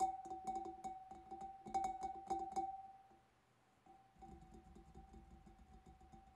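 Fingertips and nails of both hands tap the front of the bulb of a large, empty, hollow clear glass fish bowl. The quick, irregular taps clack brightly over a sustained glassy ring near 760 Hz. After a brief near-silent pause, softer tapping resumes.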